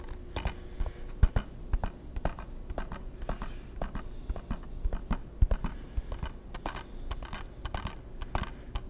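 Fingertips and nails tap a hollow, hard plastic PS3 game case on its face and spine in a quick, irregular run. Each tap is a short, dry click or tick with a soft, low thud beneath it, dying away almost at once over a faint low hum.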